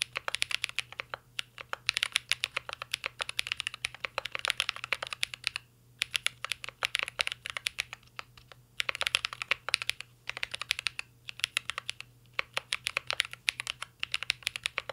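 Continuous fingertip typing on a mint-green Cyberboard R3 mechanical keyboard with a metal case and plastic keycaps. Rapid, bright, clicky key taps come in dense bursts separated by brief pauses, with each tap dying away almost instantly.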